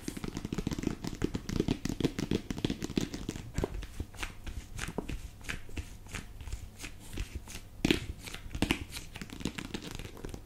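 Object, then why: Small faux-leather jewellery case. Long painted nails tap and scratch the lid and sides of a small, closed, cream faux-leather travel jewellery box with a snap strap, held hollow in both hands. The result is a steady stream of quick, dry taps and crinkly scratches with a soft, hollow low body and bright clicky edges that stop almost instantly. One sharper tap stands out near the eight-second mark.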